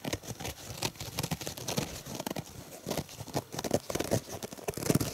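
A purple foam dish sponge is held in one hand close to the microphone while fingers squeeze it and tap or scratch its soft, porous foam. A dense run of short, dry crinkling and scratching taps is heard, with a low body and bright airy edges. Each tap dies away almost instantly.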